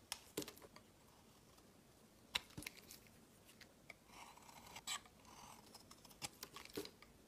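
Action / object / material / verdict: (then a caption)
scrape / bar of soap / soap / none. A rectangular cream-white soap bar with an embossed logo, held in the hand, is shaved and carved with a utility knife blade. Quiet, scattered scraping and crisp cutting clicks with bright, hissy edges sound in short bursts over a low background, with a few louder sharp snaps and no ringing.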